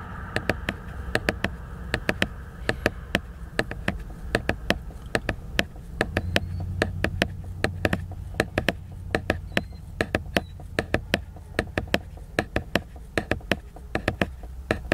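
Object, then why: Laminated cardboard hardcover book. Fingernails tap and scratch the glossy cover of a large, solid, flat laminated cardboard hardcover book. Dozens of short, dry, bright clicks come in quick irregular bursts, with no ring after each one. A soft scratching hiss and a steady low rumble sit underneath.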